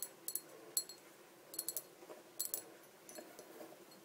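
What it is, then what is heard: Small empty glass bottle. Long dark fingernails tap around the body of a small, empty clear glass bottle resting on a table. The sound is a quiet series of sharp, bright clicks in uneven clusters, each with a brief high glassy ring that dies away almost at once.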